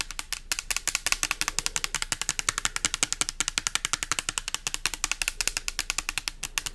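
Long nails tap a pink translucent plastic pump bottle with an orange pump, filled with liquid, held close to the mic. Dozens of quick, bright, hollow plastic clicks land in a fast, slightly uneven patter. Each tap dies almost instantly, with little low end.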